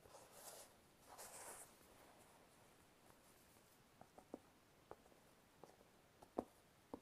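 A black sneaker with a rubber tread sole is held in one hand while the fingertips and nails of the other hand tap and scratch its sole and sides, the shoe hollow and empty. Soft, bright scratching swells through the first second and a half, then after a quiet pause, sharp, dry, very short taps with almost no ring follow. The whole clip is faint and close.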